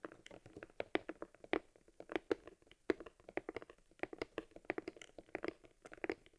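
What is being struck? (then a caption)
Small leather camera case. A small, hollow, worn leather camera case for an Argus C3 camera is held in the hands while fingers squeeze, rub and tap the leather. The result is a quiet, steady stream of dry, soft taps and crinkly rubs with a low-mid body and brief bright edges, each hit dying away almost instantly.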